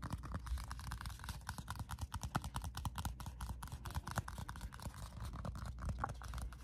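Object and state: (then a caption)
Paper sticky-note pad. Fingertips and nails rapidly tap and scratch the surface of a small square pad of pink paper sticky notes held up in the air. The result is a dense run of soft, dry taps with short papery scratches between them, each tap dying away almost at once.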